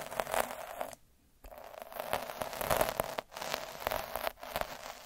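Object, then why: Felt sheet scratched with a plastic needle roller. A black plastic derma roller with fine metal needles, held by the fingertips, is rolled and scratched across a thin, soft, flat square of red felt cloth lying on a dark surface. It makes dense, crackly scratching in rapid bursts with a faint tone near 620 Hz, broken by a clear pause around one second and brief dips later.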